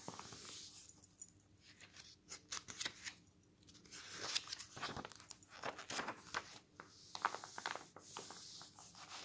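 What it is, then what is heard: Paper magazine pages. A bare hand turns the glossy paper pages of an open travel magazine lying on a wooden table, then rubs and presses them flat with the palm and fingertips. Quiet, bright, crisp swishes and crinkles come with each turn, separated by softer, steady brushing and smoothing that has almost no low end.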